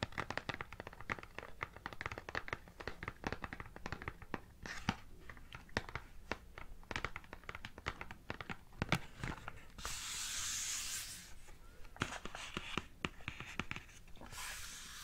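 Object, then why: Cardboard chocolate bar box. A flat rectangular printed cardboard chocolate bar box (Montezuma's Butter Nutter), held upright in both hands, is tapped and scratched with long painted nails. Rapid, crisp, dry taps run throughout, broken by brief hissing scratch strokes across the card near the end. The sound is quiet and close.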